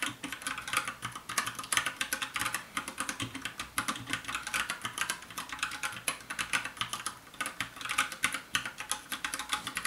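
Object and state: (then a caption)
Plastic mechanical keyboard. Fast fingertip typing with both hands on a compact 60% black plastic mechanical keyboard with a hollow case. It makes a dense, rapid stream of short, bright, hollow-sounding clacks that die away almost instantly. Faint music may sit underneath.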